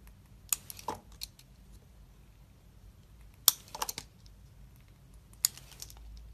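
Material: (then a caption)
Soap. A metal utility knife blade shaves thin slices from the surface of a solid, hand-sized black soap bar held in the palm. Short, crisp, bright scraping cuts come in three separate bursts, each with a sharp onset and almost no ring, separated by near-silence.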